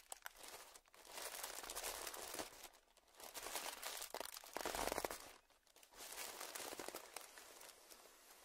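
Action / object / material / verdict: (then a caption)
scrape / clear plastic zip-lock bag / plastic / none. A small, puffed-up clear plastic zip-lock bag lying on dark fabric is pressed, squeezed and crinkled between the fingers of both hands. Dense, bright crinkling and crackling swells and fades in irregular bursts, with quiet pauses between the squeezes.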